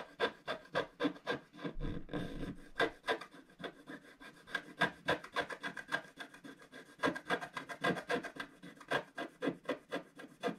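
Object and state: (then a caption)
Scratch art paper being scratched. A wooden stylus scratches a solid, black wax-coated scratch art card lying flat, working on the vase at the bottom of the picture. Quick, uneven strokes of dry, raspy scraping repeat about three to four times a second, each short and crisp with almost no ring, over a quiet background.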